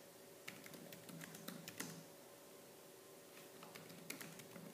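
Fingertips with painted nails type fast on the black plastic keys of a laptop keyboard, sounding sharp, bright clicks in irregular bursts over a steady low hum. The typing comes in a dense flurry, pauses briefly, then picks up again.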